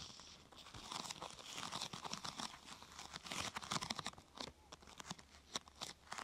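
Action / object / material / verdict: scrape / thin plastic sheet / plastic / none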